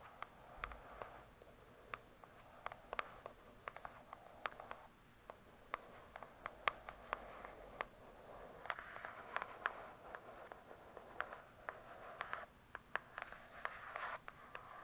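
Long pointed nails tap and scratch across the printed laminated cover of a large hardcover book. Many quiet, sharp, clicky taps ring out briefly over soft, hissy scratching swells centered in the midrange.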